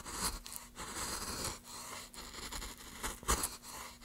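A wooden-handled gouge held in gloved hands carves along the length of a solid pine plank lying on a dark surface, lifting shavings as it goes. A series of rough, rasping scrapes follow one another in uneven strokes, each a dry, bright hiss with short gaps between. A faint steady low hum runs underneath.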